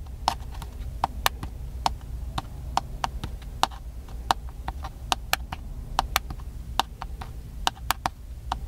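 Fingertips tap the body of a small black handheld plastic camcorder, which is hollow. The taps come as a quick, uneven series of around two dozen short, dry, hollow clicks with a slight tone near 770 Hz and a bright edge. A steady low hum sits underneath.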